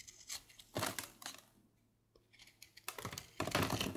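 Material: Soap.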